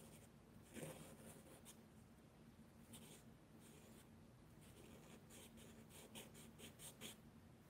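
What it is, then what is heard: Charcoal scratching on sketchbook paper. A charcoal pencil makes short, scratchy shading strokes on the page of a spiral-bound mixed media paper sketchbook lying flat on a table. Soft, bright scratching bursts rise and fade over a quiet, steady low hum.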